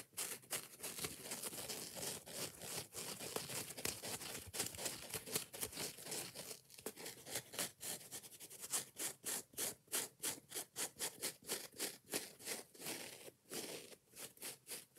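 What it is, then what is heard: Foam kitchen sponge, scratched and tapped. Long nails tap and scratch the yellow soft foam face of a kitchen dish sponge with a green scouring pad, held close. Fast, dense, bright crinkly scratching fills the first half, then breaks into quicker, more separate rhythmic bursts of scraping and tapping.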